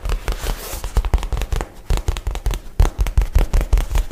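A light blue nylon shoulder bag is held in one hand while the fingernails of the other hand tap and scratch its crinkly fabric. The result is a fast, uneven run of soft, dull taps with a deep, thumpy body, mixed with brief crackling and rustling scratches of the fabric.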